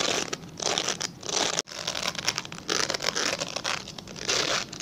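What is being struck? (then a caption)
Glycerin soap bar. A translucent, palm-sized glycerin soap bar is held and scratched with fingernails. The result is a run of bright, dry, crinkly scratching bursts with very little low end, broken by a brief silence partway through.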